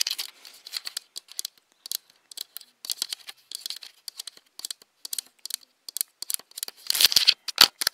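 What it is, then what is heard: Plastic camera body. Long nails tap and scratch a hollow black Nikon DSLR camera, striking its plastic body and lens barrel. Dozens of quick, dry, bright clicks with almost no low end come in irregular bursts, each dying away almost instantly. A denser, louder scratching flurry rises near the end.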